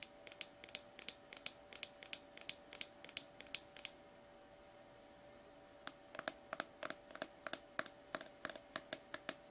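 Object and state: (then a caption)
Plastic slime tub. Fingernails tap and scratch the labeled side of a small, sealed, apparently full cylindrical plastic slime tub, which is tilted toward the end. Quick, bright clicks come in two rapid runs separated by a pause of about two seconds, each tick dying away almost instantly. A faint, steady tonal hum sits underneath throughout.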